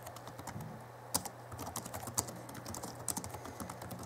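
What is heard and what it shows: Both hands type with their fingertips on the backlit chiclet keyboard of a 2011 Alienware M11x laptop (M11x2) with plastic keys, making rapid, soft plastic key taps over a steady low hum. Three sharper, brighter clacks stand out from the quick, dry clicking.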